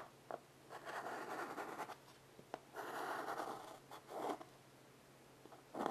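A chalk stick is scratched in short strokes along the surface of a small wood-framed blackboard resting on carpet. Dry, gritty scraping bursts centred in the midrange come with a few small taps between them. A faint steady low hum sits underneath.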